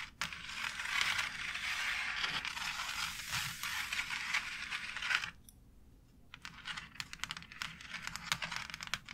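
Long nails scratch across a white embossed plastic faux brick wall panel, making a dense, bright, hissy rasp for about five seconds. After a brief near-silent pause, the nails return with lighter, scattered taps and short scratches against the plastic relief.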